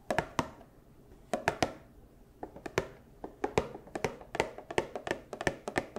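A small Funko Pop cardboard box with a clear plastic window and a figure inside is tapped and knocked with fursuit claws. About two dozen short, dry taps come in irregular clusters with brief pauses, each a hollow mid-pitched knock with a bright clicky edge that dies away almost at once.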